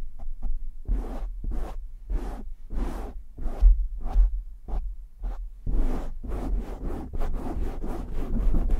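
Short fingernails and fingertips of both hands scratch a black, soft porous foam windscreen on a large USB microphone. The result is a rapid series of fast, aggressive scratchy swishes with a deep, rumbling low end, speeding into denser scratching near the end.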